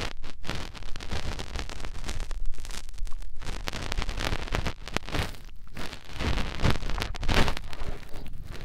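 A fingertip is pushed into the ear canal of a soft silicone ear on a white binaural microphone and rubbed around inside it. The result is a close, continuous stream of muffled, low, thumping rumbles and crackly scratching that swells and fades with the finger's movement, with very little high content.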